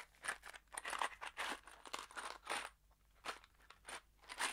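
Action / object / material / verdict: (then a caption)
shake / small cardboard box with metal screws inside / cardboard / none. A small kraft cardboard box holding screws is held between the fingers and shaken. It gives a run of quick, crunchy rattling bursts with brief pauses between them, bright and papery with the screws clicking inside over a faint low hum.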